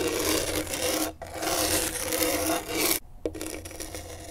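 A pen tip held in a gloved hand rasps across the coarse grip tape on a skateboard deck. It makes a steady, gritty scratching with bright, hissy texture, in long strokes broken by two brief pauses.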